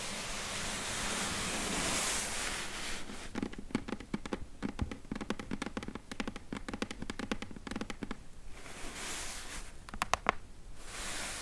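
Long nails scratch the far edge of the top of a closed, hollow corrugated cardboard box, making a quick run of dry, scratchy strokes with a low hollow body and bright, papery edges. Soft steady hiss comes before and after the strokes, and a few sharp ticks are heard near the end.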